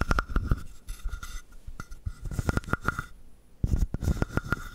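A palm-sized hollow carved wooden frog has its surface scratched and tapped with the fingertips. Quick, dull, low taps come in uneven bursts over a soft, rasping scratch and a faint steady tone, with a dense cluster of taps near the end.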